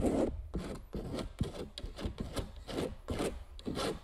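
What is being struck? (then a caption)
Metal palette knife on stretched canvas. A metal palette knife scrapes and scratches across a large stretched canvas print coated with clear medium. It makes a quick run of short, dry, raspy strokes with a gritty low-mid texture and little ring after each pass.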